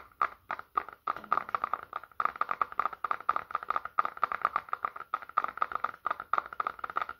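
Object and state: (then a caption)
Smartphone tapped with fingertips. A small, solid black smartphone, held horizontally in both hands, is tapped on its back and edges with fingertips in rapid clusters to help reduce stress. The taps are short, dry clicks with a ringing tone around 1.2 kHz and no low rumble, each dying away almost instantly between brief pauses.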